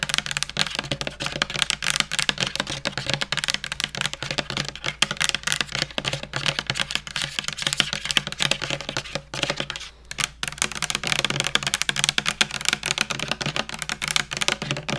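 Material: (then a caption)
Plastic. A hand-sized white soft plastic skincare squeeze tube with a pink cap, apparently filled, is held in one hand and tapped rapidly with long painted fingernails. Quick, dry, bright clicks patter almost continuously with very short decay, pausing briefly near the ten-second mark before carrying on.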